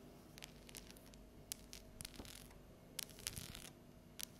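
Long yellow nails tap and scratch the top of a thin, solid, unwrapped dark chocolate bar with scored segments, lying flat on a stone countertop. Quiet, crisp, bright clicks and short scratchy rasps are scattered over a soft low hum, each tap dying away almost instantly.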